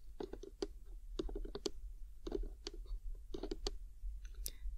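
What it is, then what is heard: Cardboard gift box. Long nails tap and click on the lid of a medium-sized, hollow, printed "Lovely Day" cardboard gift box held upright in both hands. The light, dry taps come in quick bursts separated by short pauses. Each click stops almost at once, with a hollow midrange body and a soft low rumble underneath.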